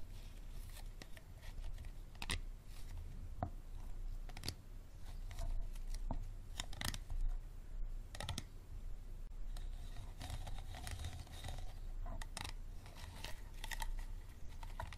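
Fingernails tap and scratch the ribbed sides of a small, empty, clear plastic water bottle held upside down with its green cap at the bottom. Quiet, crisp clicks and scraping rasps repeat through the clip, with short hollow ticks that die away quickly over a steady low rumble.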